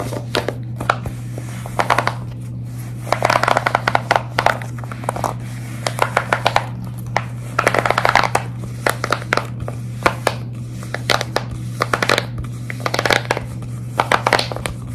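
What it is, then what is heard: Silicone pop-it fidget toy. Long red nails scratch, tap and grip the flexible hollow bubbles of a large square tie-dye silicone pop-it fidget toy. Rapid, dense bursts of crisp tapping and scratchy rustling come in waves over a steady low hum, with a few brief quieter stretches between bursts.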